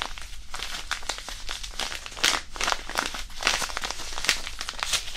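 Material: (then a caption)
Non-woven fabric. A small white disposable hand warmer, a non-woven fabric pouch filled with iron powder, is squeezed and crinkled in both hands above the mic. Dense, bright crinkling and gritty rustling come in quick bursts, with sharper crackles standing out over a soft, continuous texture.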